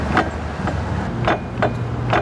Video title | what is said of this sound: Axle Stub Saga - 95 S14 240sx Build Part 3 | there's like a back-and-forth slop in there